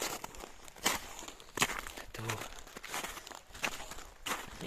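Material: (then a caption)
Ice. Footsteps walk across the frozen ice of a valley floor, each step a sharp, bright crunch with almost no ring. Quieter scuffs fill the gaps between the louder steps. The crisp, hard sound shows the ice underfoot is very hard, not soft.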